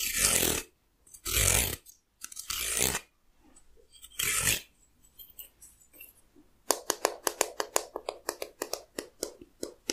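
Fingernails scratch and pluck the teeth of a solid, hand-sized wooden hair comb. Four long, bright, hissing scratch strokes are followed by quieter rasping, then a rapid series of crisp, dry plucks with almost no ring.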